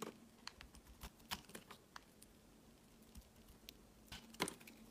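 A utility knife blade scrapes and shaves thin slices off a solid, palm-sized, translucent green rectangular glycerin soap bar. Quiet, sparse, crisp ticks and short scratchy scrapes come through with bright edges, over a faint, steady low hum.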